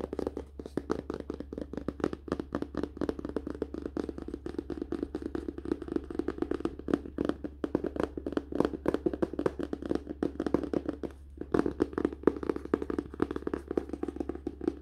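Fingertips and nails tap fast on the glossy cardboard cover of a closed hardcover paper-and-cardboard book held at an angle, near the spine. The result is a rapid, continuous patter of short, dry, hollow taps with a warm low-mid body and almost no ring, pausing briefly near the 11-second mark. A steady low hum runs underneath throughout.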